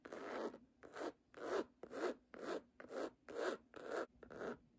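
Long nails scratch back and forth across the textured cloth cover of a solid red cloth-bound hardcover book lying flat. Eight raspy, rubbing strokes are heard in a steady rhythm, each a soft, brushy scrape with a bright hiss, separated by brief silences.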